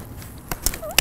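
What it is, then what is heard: Dry dead wisteria wood, hollow. During wisteria pruning, a dry, dead branch is tapped to check it, giving four short, sharp knocks that sound hollow and confirm the wood is dead and ready to be cleared out. The dry clicks are bright, with a faint low background hum and a brief rising tone between the last taps.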